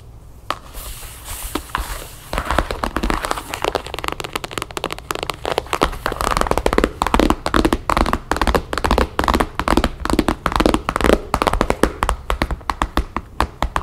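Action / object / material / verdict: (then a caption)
tap / closed cardboard box / cardboard / none. Long nails and fingertips tap rapidly and unevenly on the lid of a closed, hollow rectangular cardboard box with a map print, resting on a wooden table. The result is a dense run of short, dry clicks and hollow knocks with a faint crackle, growing busier after the first couple of seconds.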